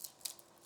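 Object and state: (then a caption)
Crisp baked pastry sheet. Baked brick-pastry tuiles, brushed with yuzu olive oil and baked at 180°C and layered in an avocado and shrimp millefeuille, are broken into for tasting. Three short, quiet, bright cracks sound with almost no low end and no ringing, showing the pastry is crisp.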